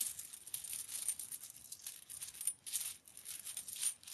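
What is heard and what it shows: Fingertips pick up, drop and shuffle mixed loose metal US coins within a pile spread on a white cloth. A quiet, steady stream of bright coin-on-coin clinks and jingles follows, with short rings and almost no low end.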